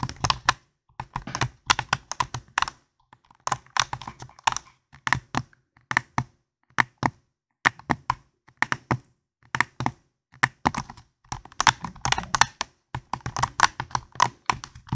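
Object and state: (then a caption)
Plastic game controller. A hand-sized, hollow, white and black plastic PlayStation-style gamepad is held in both hands right at a foam microphone while fingertips with dark-painted nails press and click its buttons and tap its shell. Quick bursts of sharp, dry plastic clicks and taps are separated by brief silences, each click dying almost instantly with a mid-toned body and a bright edge.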